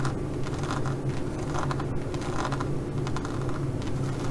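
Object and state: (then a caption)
Studded faux leather pouch. Long nails scratch quickly across the pyramid-textured studs of a green studded faux leather zippered pouch. The result is a steady, dense scratching texture with a strong low hum underneath and brief bright rasping bursts throughout.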